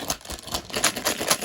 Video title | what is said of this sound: LEGO Muppets Minifigure Series Feel Guide - Complete In-Depth Guide | you can hear just the pure amount of small parts